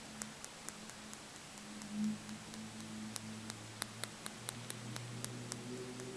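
A dark blue stone egg, possibly sodalite or lapis, is tapped with the fingertips, giving sixteen sharp, bright clicks that stop instantly with no ring. A faint, steady low hum runs underneath the taps.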